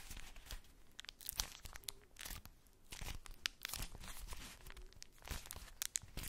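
A polka-dot tissue-paper-wrapped ball is cupped in the hands, crinkled and scratched with long nails. Dry, bright crinkling and papery rasps come in quick irregular bursts with short scratchy pauses. Each sound stops abruptly with no ring.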